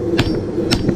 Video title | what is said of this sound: Canister damascus p2 | it has the ting sound to it, but there's still a thud there, so it's probably good. the thud is more than likely the edges as they go through.